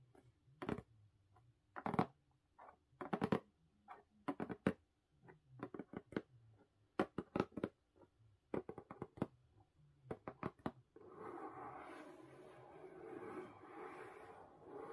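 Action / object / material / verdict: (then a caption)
tap / closed corrugated cardboard box / cardboard / none. Long pink nails tap across the lid of a closed blue corrugated cardboard mailer box, giving a series of short, dry, hollow taps in quick clusters. After about eleven seconds the tapping gives way to a steady, brighter scratching sound as the nails drag across the cardboard until the end.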